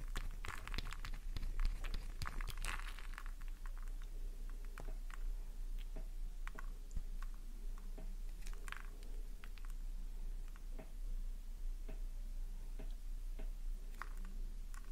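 Long nails dig into a solid pink soap bar, curling off thick soap curls with scraping and fast tapping. Crisp, crunchy scratches and sharp, bright taps come in quick bursts over a steady low hum.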